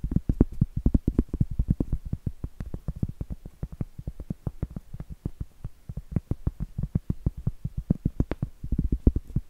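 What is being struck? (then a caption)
Round flat cork trivet. Long acrylic nails tap and scratch the surface of a round, flat, solid cork trivet held upright. The result is a rapid, steady run of dull, low, dry thuds with almost no ring, crowding into denser flurries near the start and end.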